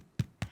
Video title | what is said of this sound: Everyday Gourmet with Justine Schofield S10E50 X Lighthouse Flour: Crusty White Bread | give it a tap and if it sounds hollow you know that your bread is completely cooked through